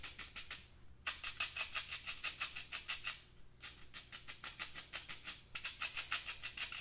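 Fingertips and nails scratch the mesh walls of a hollow, empty black metal wire-mesh pencil cup held up in the air. Rapid, bright, raspy strokes come about three per second, with a faint ringing tone near 2.6 kHz. The strokes run in bursts broken by two short quieter pauses, with almost no low end.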